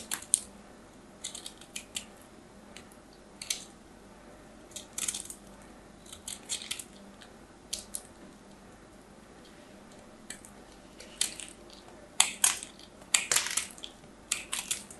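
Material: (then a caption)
Soap. A solid white bar of soap, carved down and held in the fingers, is scraped with the tip of a small knife. Short, bright scratching bursts come at irregular intervals, some quick and crisp and others longer rasping drags, growing busier toward the end. A faint low hum sits underneath the quiet gaps.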